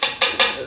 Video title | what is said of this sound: Fixing/Overhauling Free Fuji Nevada Mountain Bike | if you tap on it you get like a solid sound there then it's metal if it's kind of a dull just thud then it's plastic